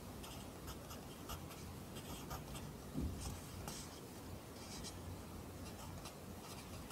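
A yellow wooden pencil held in the fingers scratches its graphite tip across an open lined paper notebook lying flat on a desk. Soft, quiet scratchy strokes come in short bright bursts over a low, steady rumble, with one slightly louder tap near the middle.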